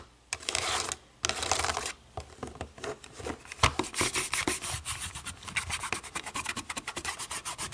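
Long nails scratch and rub a black plastic TV remote, first across the button side and then across the back after it is flipped over. Two long, bright, hissing scrapes give way to a quick run of short, dry scratching strokes with a slight tapping edge.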